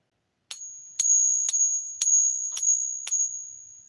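A fake Silver Eagle coin, copper-based and silver-plated, is pinged seven times at a steady pace. Each strike gives a thin, high metallic ring that fades within about a quarter second. The dull, short ring marks the coin as a fake.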